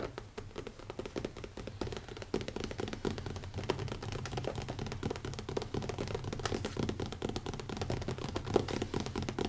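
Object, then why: Leather-covered hardcover notebook. Fingertips from several fingers tap rapidly on the cover of a small, closed, black leather-covered hardcover notebook with an elastic band, resting on a wooden table. The result is a fast, continuous patter of soft, dull, muffled thuds with a low-mid body and almost no ring, rising slightly in intensity over time.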